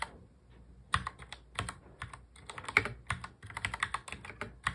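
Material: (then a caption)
Plastic. Fingertips of both hands touch-type fast on a full-size black plastic mechanical keyboard. A quick, uneven run of sharp, bright plastic clacks follows, each keystroke dying away almost at once, with a quiet pause near the start before the typing picks up.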